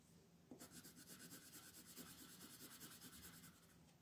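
A red wooden colored pencil makes shading strokes across a flat white paper mandala coloring page held by fingertips. After a brief quiet start, a steady run of quick, rhythmic scratchy rubbing strokes follows, with a bright, papery hiss that continues to the end.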